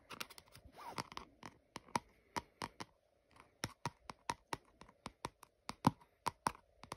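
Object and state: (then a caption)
Glossy cardboard box. Fingertips and nails tap and scratch the flat top and barcode label of a small lavender glossy cardboard product box that looks hollow, though it's unclear whether it is full or empty. Quiet, sharp, dry clicks come in an uneven series with a brief scratchy rustle near the start and a short pause midway. Each tap dies away almost instantly.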